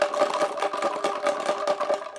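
A clear homemade shaker bottle filled with rubber erasers and plastic pen caps is shaken steadily, making a quick, even run of dull rattling bursts. The tone is muted and papery, almost like cardboard, sitting in the midrange with no low bass and little brightness.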